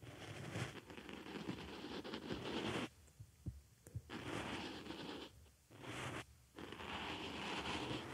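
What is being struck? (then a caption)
Foam makeup sponge scratched with a wooden stick. A wooden stick scratches the surface of a small white foam makeup sponge placed on a microphone ear, making close, dense rustling and scraping noise. The scratching comes in bursts of several seconds, broken by short near-silent pauses, with a faint low hum underneath.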